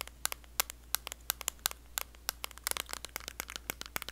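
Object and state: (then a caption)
Small metal cream tin tapped with long nails. Long blue acrylic nails tap and scratch the lid and printed back of a small, closed, round blue metal Nivea cream tin. About 26 sharp, bright clicks land in an irregular rhythm, each dying away almost instantly, with faint scratchy crackles between them over a steady low hum.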